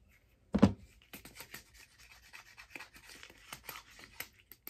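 A long, hollow, teal hard-plastic figure skate blade guard, held empty in both hands, is scratched and rubbed along its surface with long dark-painted nails. A dull low thump comes first, then a steady run of short, dry, bright scratching strokes over a faint hollow plastic body.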